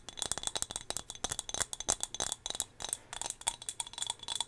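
Long fingernails tap a small, solid turquoise glass whale figurine held close to the mic. They make a quick, irregular run of bright, dry clicking taps with almost no ring and very little low end.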